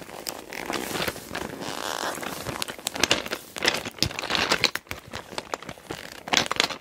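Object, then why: Clear PVC cosmetic bag with glass nail polish bottles. Fingers with long dark nails grip and squeeze the sides of a small clear PVC cosmetic bag with pink trim, full of glass nail polish bottles. Bright, dry plastic crinkling and crackling come in bursts, with the bottles shifting and clicking against each other inside. There is almost no low end.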